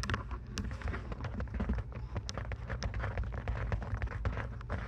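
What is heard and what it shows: Long nails tap rapidly on the plastic headband of lavender plastic over-ear headphones resting on a 3Dio binaural microphone, then tap and scratch the hollow earcup shells. The result is a dense, steady stream of short, dry clicks and light scratches over a constant low rumble.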